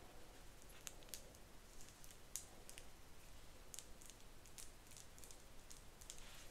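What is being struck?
Plastic wide-tooth comb.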